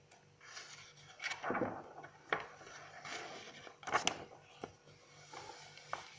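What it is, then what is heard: Paper notebook pages being turned. Long acrylic nails grip and turn the white pages of an open paper notebook while fingertips rub the paper. Soft, dry rustling and sliding is heard, broken by seven crisp, bright clicks and flicks as the paper is handled and the pages turn.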